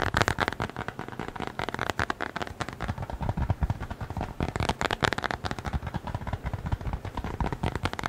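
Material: Leather.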